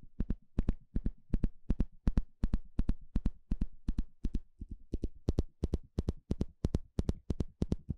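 A small blue plastic comb with fine teeth, held in the hand, has its teeth scratched and flicked with a thin plastic stick. The result is a steady, somewhat uneven run of quick, dry ticks and short scrapes, often in close pairs, each dying away almost at once. The sound is mostly low, with faint bright crackle at each flick.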